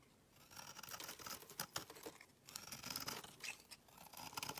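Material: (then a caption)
Soap. A solid green oval bar of soap is held in the hand while a utility knife blade shaves its edge into fine curls. The result is a quiet run of crisp, bright scraping strokes that comes in bursts with short pauses between, and carries almost no low end.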